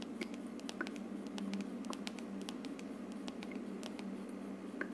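Long nails tap and scratch the hollow frosted plastic dome of a plastic aroma diffuser on a wood-look plastic base. Quick, crisp clicks and soft scratchy strokes patter over a steady low hum, with short-lived bright ticks scattered throughout.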